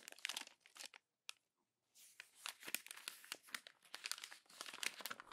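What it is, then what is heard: Glossy magazine page being crumpled. A hand crumples a single page of an open glossy paper magazine into a ball against the spread, making dense, bright crinkling and crackling. A short burst of crinkles is followed by a near-silent pause broken by one sharp crack, then continuous crumpling resumes and builds. The sound is almost entirely high-pitched, with no low rumble.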